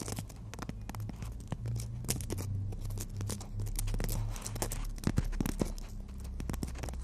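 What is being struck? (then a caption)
Emery board nail file tapped and scratched by fingernails. Long natural fingernails tap and scratch the gritty face of a long, flat, solid black emery board nail file held horizontally. Quick, sharp taps and bright, gritty rasps come in rapid bursts over a steady low hum.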